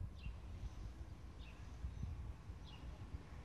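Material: Nothing is struck.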